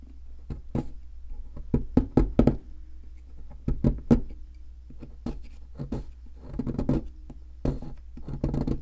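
A wooden-handled metal chisel chips and knocks at a solid white plaster ammonite fossil excavation block held in the hand. Short, dry knocks and taps come in uneven bursts with almost no ring, over a steady low hum.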